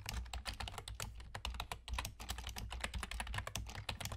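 Fingertips with short nails on both hands type rapidly on a full-size black plastic computer keyboard with German key labels and hollow keys. A dense, continuous stream of short, bright, clacky keystrokes dies away almost instantly, over a steady low hum.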